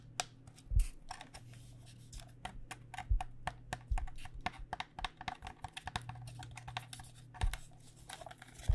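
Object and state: Plastic cycling helmet.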